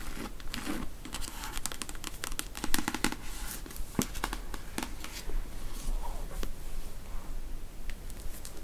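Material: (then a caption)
Paper. Long nails riffle the paper page block and scratch the cover of a paperback copy of the novel The Beach as the book is turned in the hand. The result is a steady, dry papery rustle full of quick, sharp flicks and scratches, set over a low, dull rumble.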